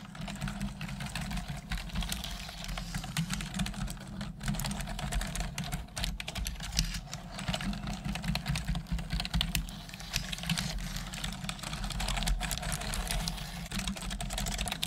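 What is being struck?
Plastic computer keyboard.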